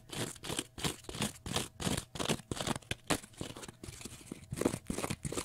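A small rectangular block of pale green porous cellulose sponge is scratched with fingernails in quick repeated strokes. Each stroke gives a dry, crunchy, tearing scrape with a bright, hissy top, coming in rapid bursts of about two to three per second.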